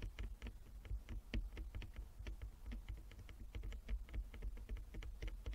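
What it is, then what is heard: Wooden chess board. Long fingernails on both hands tap rapidly across a flat wooden chess board with inlaid squares. The result is a quick, irregular patter of light, crisp clicks with bright edges that die away almost instantly, over a steady low hum.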